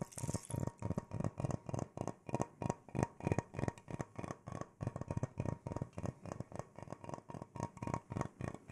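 An irregular natural wooden bowl, hollow and empty, is held up in one hand and tapped and scratched with the fingertips and nails. Rapid, unevenly spaced taps give short, dry, hollow low knocks with a woody body. Each knock dies away almost instantly, leaving brief scratchy rustles between them.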